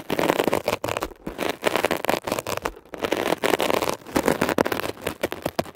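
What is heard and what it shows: A metal ear pick scratches a blue mesh-covered textured foam scrub sponge that is pressed down slightly. It makes dense, crackly scraping in quick bursts separated by brief pauses, strongest in the midrange, with little deep bass.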